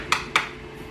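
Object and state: Fully cured resin print.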